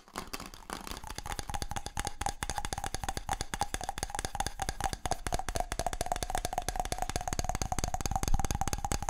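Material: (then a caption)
Wood. A palm-sized round wooden object, possibly a small bowl, is held in both hands and tapped rapidly with the fingertips. The steady stream of short, dry knocks has a low thump and a faint hollow tone around 800 Hz that runs through the whole clip.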